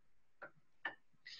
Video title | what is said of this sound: 'Advanced materials for extreme environments' webinar at The University of Queensland. | we basically have our ceramic matrix composite and now you can hear it really sounds more like a ceramic than a polymer